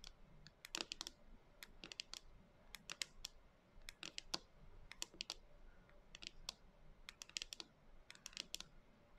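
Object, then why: Plastic jar filled with dry soy chunks. Long nails tap and scratch the top of a clear plastic canister with a white lid, lying on its side on a table and full of dry soy chunks, with a few loose chunks beside it. Quick, bright clicks come in irregular clusters over a faint hiss, each dying away almost instantly.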